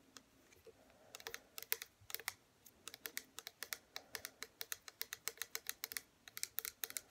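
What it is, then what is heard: Plastic bottle tapped with fingernails. Long fingernails on both hands tap rapidly on the front of a small, upright pink plastic hair serum bottle (97 ml), which is hollow and holds liquid. The taps are quiet, sharp and bright clicks with almost no ring. They start in loose bursts and settle into a fast, steady run.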